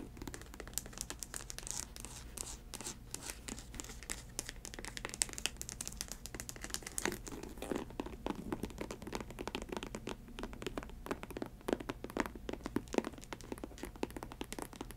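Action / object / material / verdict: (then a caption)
scrape / synthetic leather ankle boot with rubber sole / synthetic leather / none. Long nails tap and scratch the toe and side of a faux snakeskin ankle boot, a snake-print synthetic leather upper on a rubber sole. The result is a dense, quiet run of short crinkly clicks and scrapes with bright edges over a steady low hum.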